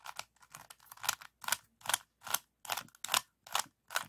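A small, solid, stickerless plastic 3x3 puzzle cube with orange, yellow and blue faces is held in both hands while fingertips twist its layers. Twelve quick, separate turns give dry, bright clicking and crunching bursts with almost no ring. The turns come at an uneven, steady pace.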